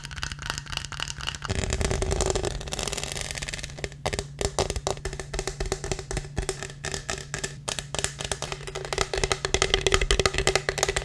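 Fingertips and nails tap and scratch the studded sides and lid of a black studded plastic tumbler with a lid and straw. Dense, quick clicks and scrapes run throughout, with a smoother scratching stretch near the two-second mark, and the taps get louder toward the end.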